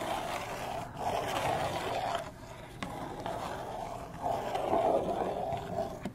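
Long manicured nails scratch and tap a small, hollow, printed cardboard retail box with a window, held upright with a slug fidget toy inside. Steady papery scratching with a hollow midrange rasp rises and falls in two longer swells, broken by two sharp, bright taps.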